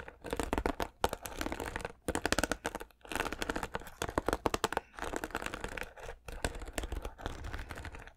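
Fingers strum and scratch the plastic bristles of a white plastic paddle hairbrush. Rapid, dry clicking and scratchy rasping come in bursts separated by brief pauses. The short, crackly ticks have a full, broad texture and no lingering ring.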